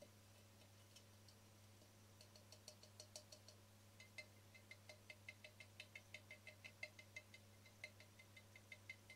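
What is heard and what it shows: Fingertips and nails tap the faces and edges of a small, hollow, speckled cream-glazed ceramic cube candle holder with a round hole. About three dozen quick, light, clicky taps come at an uneven pace, each with a brief bright ring near 2 kHz that dies away almost instantly. A steady low hum runs underneath throughout.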